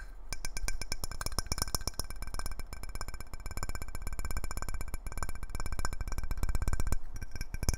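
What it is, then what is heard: Glass jar lid. A round clear glass jar lid is held edge-on and flat and tapped quickly with the fingertips and nails. The taps come as a rapid, steady stream of ringing clinks over a low, dull thump.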